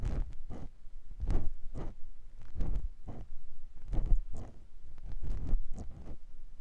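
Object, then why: Silicone ear of a binaural microphone, scraped with a silicone ear pick. A clear silicone ear pick scratches inside the ear canal of a white silicone ear mounted on a binaural microphone block. Each stroke comes through as a close, muffled, low rubbing scrape, repeating in an even rhythm with short pauses between.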